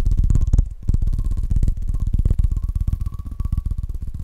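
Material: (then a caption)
Wood. A bowling pin is tapped fast and aggressively, producing a rapid, continuous run of short, deep, dull knocks. Each tap dies away almost instantly, with nearly all the energy in the low range and a faint steady tone near 1 kHz underneath.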